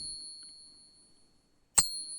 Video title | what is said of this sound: 10 Great Ways to Test Sterling Silver Coins (Real or Fake Coin Hunt) | certainly pure silver and to a large extent sterling silver has a really nice long high-pitched ding to it